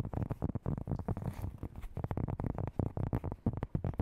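Long nails rapidly tap and scratch the textured surface of a large, round, flat, solid cork board held in both hands. The taps are quick, dull and muffled, with a low, soft thud, almost no brightness, and no ring. Light scratchy rustling fills the gaps between them.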